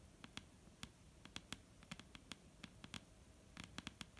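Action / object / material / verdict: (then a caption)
tap / wooden table top / wood / none. Long painted fingernails of both hands tap on a solid, dark brown wooden table top, making about 19 quick, irregular clicks. Each tap is sharp and bright with a faint low knock beneath, dying away almost instantly against a quiet background.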